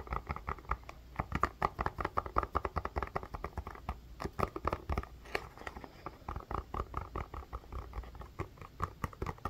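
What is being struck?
Plastic ice pack.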